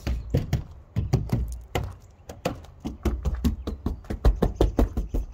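Knuckle knocks on the sheet-metal body panels of a Dodge van after Jegs sound deadener has been applied, as a knock test. Around 25 quick, irregular knocks give dull, low thuds that die away almost instantly with no ringing. The panels no longer resonate as badly and sound far less echoey than before.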